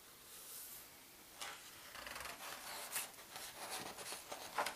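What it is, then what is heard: Paper atlas pages being rubbed and turned. Fingertips and palm slowly rub the thin glossy map pages of a large open world atlas and turn them. A faint papery hiss is followed by brighter rustling, crinkling swishes and soft flicks as the pages move, with almost no low end.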